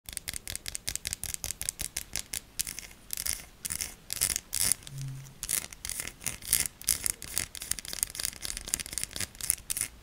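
A solid pink Shik bar of soap with a ribbed, embossed surface is held in one hand and scratched with long manicured nails. The clip is a rapid series of crisp, bright scratching strokes, with short bursts and some longer rasping scrapes. There is a faint low hum around the middle.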